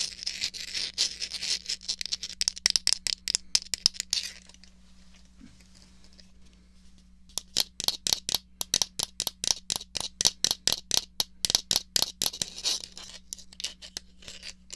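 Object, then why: Plastic joystick controller. Fingertips and long nails tap the base and move the stick of a small, hollow, black plastic Atari 2600 joystick controller held in hand. Rapid, bright, clicky taps and scratchy rattles come in dense bursts, pause into near silence for about three seconds, then resume just as busily. A faint, steady low hum runs underneath throughout.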